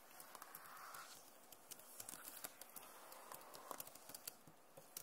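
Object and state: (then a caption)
Plastic laptop keyboard. Long nails scratch and tap across the plastic keys of a backlit Acer laptop keyboard. Sharp, bright clicks and ticks stand out over a soft, steady scratching hiss. The sound is quiet throughout.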